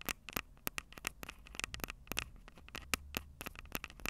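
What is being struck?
Small handheld audio recorder, plastic body with metal mic capsules.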